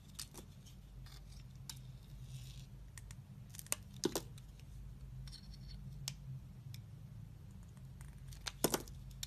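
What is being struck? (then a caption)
Soap bar cut with a blade. A hand-held, solid rectangular soap bar with a pink glitter surface and a white core is shaved and cut with a box-cutter blade. Short, crisp scraping and snapping cuts come at uneven intervals, with a few louder, bright slices standing out. Beneath them runs a steady low hum.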